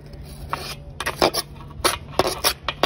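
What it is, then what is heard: Knife scraping cement and charcoal powder. A steel knife blade held in the hand scrapes and cuts through a mound of fine grey cement and charcoal dust with small pebbles in a basin. It makes nine short, gritty, bright rasping strokes with quick, dry stops and no ring. A faint low hum runs steadily underneath.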